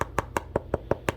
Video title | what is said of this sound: Adidas Tech Response 2.0 Golf Shoe Unboxing and First Impressions | you can hear that sounds pretty much like plastic